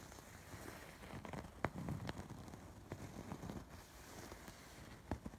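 Fingertips and short nails scratch across the raised red, pink and blue chain-stitch embroidery of a soft stuffed throw pillow. The result is a quiet, low, muffled rustling scrape with occasional sharper, brief scratchy clicks.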